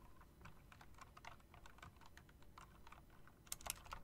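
Long dark nails and fingertips tap the round typewriter-style keycaps of a backlit plastic and metal mechanical keyboard, producing a quick run of light, dry clicks over a low background rumble. Near the end a few sharper, brighter clacks stand out, and each click dies away almost instantly.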